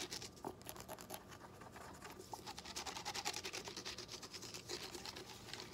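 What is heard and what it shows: Short fingernails scratch and rub a small hollow yellow lemon-shaped plastic lemon juice squeeze bottle with a dimpled texture and green cap, held in both hands. The result is a quick, uneven stream of bright, dry scratching and tapping, mostly in the high range with little low end.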